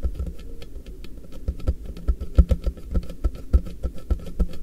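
Fingertips tap both sides of a hollow, apparently empty, frosted translucent polypropylene MUJI storage box held with its base flat in front of the recorder. The result is a quick, irregular patter of soft, dull, low-pitched thuds, about three to four per second. Each tap dies away almost instantly, with only a faint hollow tone above it.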